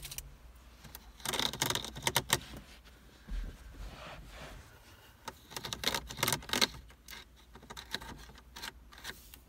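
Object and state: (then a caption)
Hollow plastic car air vent. Fingertips and nails tap and flick the thin horizontal slats of a hollow black plastic car dashboard air vent. Bursts of sharp, bright plastic clicks and ticks come in quick clusters with quieter gaps between. Each click dies almost instantly over a faint low hum.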